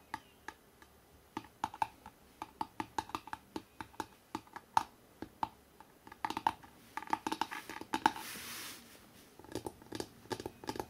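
Fingertips tap quickly on the cover of a hardcover book with an Empire State Building cover photo. The result is a rapid, uneven run of short, dry clicks with a faint ring near 890 Hz. Partway through, a brief bright rustling hiss sounds as the book is held up, then the light tapping resumes.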